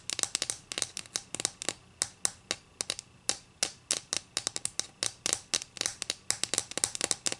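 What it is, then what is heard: Wooden ruler. Long green acrylic nails scratch along the narrow edge of a thin, solid wooden ruler held edge-on. About 36 short, crisp scrapes and clicks come in quick irregular bursts, bright and high with almost no low end. Each one dies away almost instantly.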